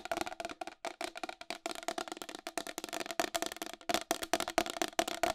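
Long acrylic nails tap quickly and aggressively on the face cover and rim of a round, white, hollow plastic wall clock. The result is a steady stream of crisp, bright clicks with a hollow knock around 680 Hz, each dying out almost at once, with little low end.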